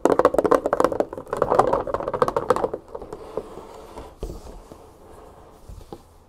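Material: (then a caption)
Plastic. Long fingernails tap and scratch the side and paper labels of a large 3 L clear plastic jug, mostly full of olive oil. A rapid, uneven run of dull, short, mid-pitched taps fills the first few seconds, then fades into quieter scratching and a few scattered soft taps.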